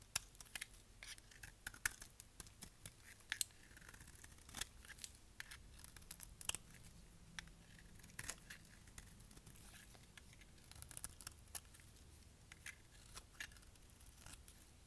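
A utility knife blade shaves the edge of a brown translucent dry bar of solid soap held in the hand, scraping and cutting off curls. A quiet, steady series of short, dry, bright scraping and crisp cutting ticks sounds with almost no ring, over a faint low background.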